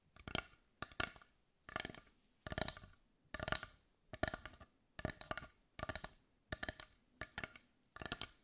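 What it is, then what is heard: Wooden heart tapped with fingernails. Long white nails tap and scratch across a large carved dark brown wooden heart held in both hands. About ten short bursts of quick, dry, clicky taps with faint scratching come at a steady pace. Each burst has a woody knock around 640 Hz and bright edges, and stops almost instantly with no ring.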